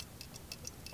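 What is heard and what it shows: An MSR Whisperlite or Dragonfly liquid-fuel backpacking stove is shaken upside down, and its metal shaker needle rattles loose inside the burner with six faint, high, ticking clicks over a low hum. This rattle is the designed, normal behavior: the moving needle clears carbon buildup from the burner.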